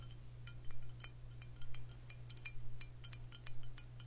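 Long fingernails tap a Crown Royal Vanilla glass whisky bottle filled with amber liquid, producing a quick, irregular run of bright, high glassy clinks that die away almost instantly. A steady low hum sits underneath throughout.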